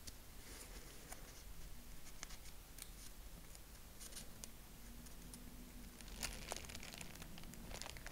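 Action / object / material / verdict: scrape / folded tissue-paper honeycomb / tissue paper / none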